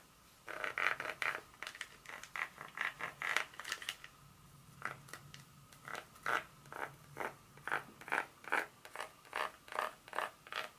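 A long fingernail scratches and taps the segments of a solid dark chocolate bar held in the hand. It makes a quick series of short, dry, bright scratchy strokes, clustered densely at first and then, after a brief quieter gap, falling into a steadier rhythm of separate taps. Each stroke dies away almost at once with no ring.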